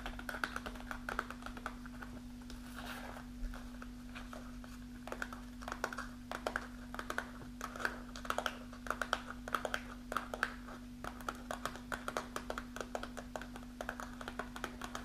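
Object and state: Kraft paper snack pouch.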